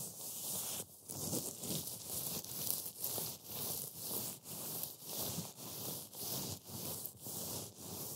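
A pile of dry, brittle green matcha wafer crumbs on a white board is rubbed and squeezed by black-gloved fingers. The result is a steady run of soft, crackling crunches in short bursts, each separated by a brief dip. The sound is bright and hissy, with little low end.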